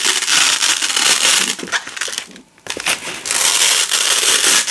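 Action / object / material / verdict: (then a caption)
scrape / nylon hook-and-loop (velcro) strip / nylon / none. A wide black nylon hook-and-loop strip has its fuzzy loop layer peeled slowly off the ridged hook layer by hand, with fingers with long pink nails. It makes a steady, bright, dense crackling tear that is almost entirely high-pitched with no low end. The tearing pauses briefly near the middle, drops almost to silence, then resumes just as loud.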